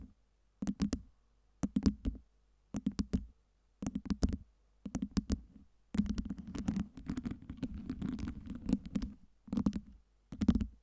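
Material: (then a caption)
Acrylic. Long nails tap and scratch on a stack of clear acrylic fake ice cubes lit with colored LEDs, moving the cubes as they go. Short bursts of quick, dull plastic clicks come in clusters separated by silence, then a longer stretch of continuous scratching and rattling runs from about 6 to 9 seconds before two final tapping bursts. The clicks are low-pitched with crisp, bright edges and die away almost instantly.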